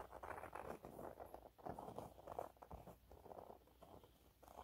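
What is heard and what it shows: Fast, light fingernail scratching on a yellow waffle-textured cleaning cloth held upright makes a soft, dense pattering. The quiet, fluttering rustle sits mostly in the low-mid range, swelling and fading in uneven bursts with little high-end brightness.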